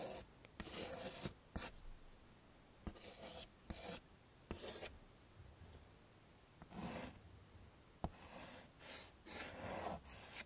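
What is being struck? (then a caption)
Chalk on a wood-framed chalkboard. A hand scratches chalk along the lower part of a drawing on a wood-framed chalkboard, making short, bright rasping strokes. Quiet gaps separate the strokes, and a few sharp ticks occur where the chalk meets the board. The sound stays soft throughout.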